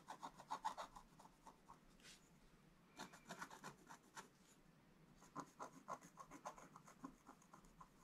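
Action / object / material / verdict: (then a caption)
scrape / wax-coated scratch-art card scratched with a wooden stylus / coated card / none. A wooden stylus held in the fingers scratches lines into a flat, black-coated scratch-art page with gold showing through, lying in an open book on a table. Quick, dry, raspy strokes come in three bursts separated by quieter pauses, with a mid-pitched scraping tone and a faint bright hiss. Each stroke stops sharply with almost no ring.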